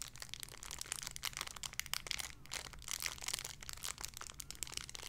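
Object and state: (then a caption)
Plastic bag with squishy toy, crinkled. A small clear plastic bag holding a soft pink pig squishy toy is crinkled and squeezed with fingertips and long red nails. The result is a quiet, steady stream of bright, crackly plastic crinkles with sharp, dry snaps and almost no ring, over a faint low rumble.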